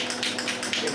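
A metal spray paint can with a mixing ball is shaken before painting in the restoration of a 1956 Western Auto Wizard Model 6J3605-A Rol Aire fan, giving bright, clicky rattles of the ball inside. Hearing the ball rattle means the paint is not mixed yet, so the can needs about another minute of shaking for the oil vehicle and pigment to combine fully.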